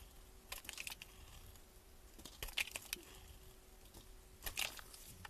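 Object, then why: Bar of soap scraped with a metal blade. A solid cream bar of soap held in gloved hands has its end scraped and crumbled with a metal utility blade. Three bursts of crisp, bright scraping and crumbling cut through a quiet background, with brief crackles between them.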